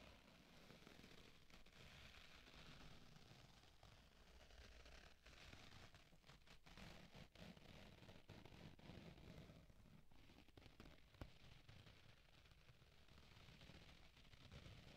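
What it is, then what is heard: Foam kitchen sponge with scouring pad. Long nails scratch and fingers squeeze a hand-sized pink foam kitchen sponge with a green abrasive scouring layer. The result is a steady, quiet stream of dense crackling and rustling, heaviest in the low range with fainter bright scratchy texture above.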